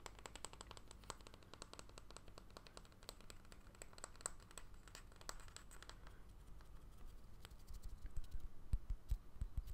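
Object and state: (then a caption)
Bamboo jar lid. A small, solid round bamboo jar lid with a pale silicone seal ring is held in one hand and tapped and scratched with painted fingernails. Quick, irregular, soft clicking taps come first, about two or three per second, over a low background rumble. After about six seconds they give way to louder, denser scratching.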